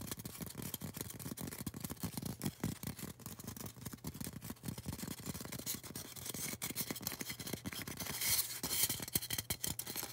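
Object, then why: Polystyrene foam cone. Long orange nails scratch and tap the sides of a tall, solid white polystyrene foam cone held upright. The result is a dense, steady stream of dry, crackly scratching and rapid soft taps, with a brighter, squeakier scrape near the end.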